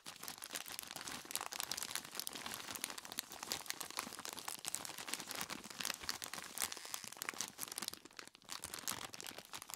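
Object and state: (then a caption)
Plastic bag full of ice cubes. Gloved hands grip and squeeze a large, clear plastic bag tied at the top and full of ice cubes. The plastic crinkles and the ice crunches in a dense, continuous stream of bright, crackling clicks. The sound stays steady for the whole clip, with a brief dip near the end.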